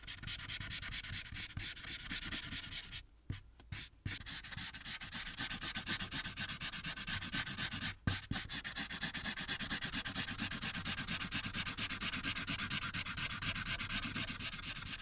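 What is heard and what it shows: A blue felt-tip marker rubs across a thin white paper coloring sheet resting on a dark board, colouring around the apples in rapid strokes. The result is a continuous bright, scratchy rasp of quick back-and-forth strokes. It breaks off for a moment near 3 to 4 seconds and again briefly at 8 seconds.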